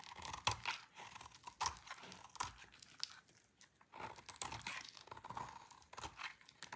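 A hand-sized, solid, cream-white bar of dry soap is held in the hands and carved with a utility knife blade, scraping crunchy flakes off onto a pile. Short, dry, crisp scrapes and crunches with a bright, high edge come in bursts over soft crinkling.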